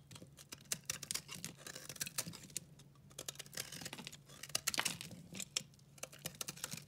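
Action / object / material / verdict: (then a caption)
scrape / recycled soap bar scraped with a knife blade / soap / none. A multicolor dry recycled soap bar is scraped and cut with a utility knife blade. The result is a dense run of short, crisp scratching and crackling bursts with bright, high-pitched content and almost no ring. A faint low hum sits underneath.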